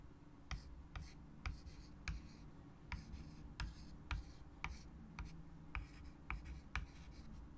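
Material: Chalk, slate.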